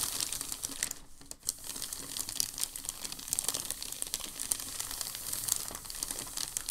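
A hand rubs and flattens a large, thin, crumpled and creased sheet of packing paper on a dark table with its palm and fingers. The result is a steady, bright, high crinkling full of sharp little crackles, with a brief quieter dip just after the first second.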